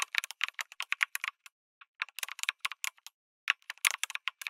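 Fingertips type on a backlit mechanical keyboard with a white case and red and grey plastic keycaps, producing about two dozen quick, sharp, bright clacks with no low end. The keystrokes come in short rapid runs separated by brief pauses, each click dry and cut off almost instantly.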